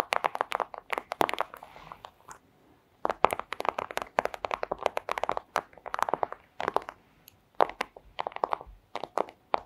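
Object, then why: Thin clear plastic sleeve. Long acrylic nails scratch and tap on a flat, thin clear plastic sleeve. The result is rapid bursts of dozens of crisp, dry clicks and crinkly scratches in the midrange, with no low end. Short pauses break up the bursts, including a near-silent gap a little after two seconds.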